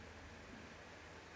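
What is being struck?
Nothing is struck.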